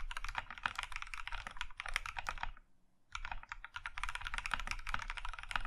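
Both hands type with their fingertips on an Iron 165 compact mechanical keyboard, with a maroon metal case and cream plastic keycaps. A fast run of crisp, clacky keystrokes, each with a bright click over a low thump, stops briefly at the midpoint before the typing resumes at the same pace.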